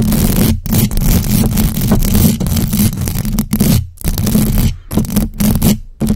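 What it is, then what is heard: Metal mesh microphone grille scratched. Long acrylic nails on both hands scratch fast and aggressively across the hollow metal mesh grille of a large black USB microphone. The result is dense, continuous raspy scraping with a heavy low rumble and a steady hum near 190 Hz, broken by a few brief silent gaps.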